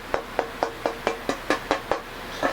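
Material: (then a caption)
Jatoba wood. A jatoba (Brazilian cherry) tonewood board that will become the back of a hollow-body guitar is tapped ten times at a steady pace. Each tap gives a bright, short ringing tone centered around 465 Hz. The board shows a very bright tap tone with a nice ring, marking it as a pretty good piece.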